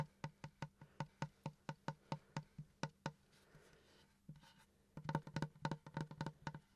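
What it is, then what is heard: Wooden plank. Fingertips and nails tap and scratch a large, flat, solid pine plank with a visible knot, held upright near the mic. A steady run of short, dry, low knocks with almost no ring gives way to a quiet stretch of soft scratching, then a quicker, louder burst of tapping. About two dozen taps in all.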